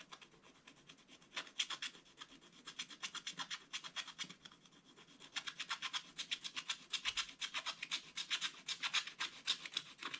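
A wooden stylus held in one hand scratches rapidly over the coated paper of a scratch-art page in a spiral book, which the other hand holds flat, leaving black flakes. The sound is a dry, bright, raspy series of short scratching strokes, about four per second in a loose, uneven rhythm, with almost no low end. It grows somewhat louder and denser in the second half.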